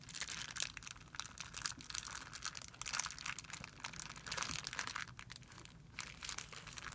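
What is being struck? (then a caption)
Thin clear plastic film bag. Fingertips rub and scratch a thin, clear plastic film bag spread flat on a white surface. The result is a soft, steady stream of bright, papery crinkles and scratchy rustles with many quick little bursts. It has almost no low end and no ring after each sound.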